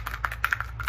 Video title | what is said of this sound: Lessons From The Egg | This one sounds different than that nickel sounded. That's because it's a quarter.